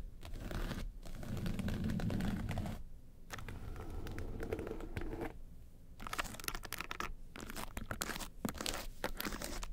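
Long nails tap the lid of a small, hollow, hard makeup case covered in woven-texture yellow faux leather, then scratch along its front sides. The result is a quick, uneven run of dry, rough scratches and crinkly taps, weighted toward a low, hollow body with brief pauses between bursts.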